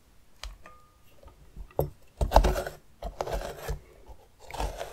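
A metal spoon tip scrapes and scratches the outer rind of a medium hollowed orange pumpkin held on its side. Short, dry scratching strokes come in several bursts with quiet gaps between them, carrying low thuds under a faint brighter rasp.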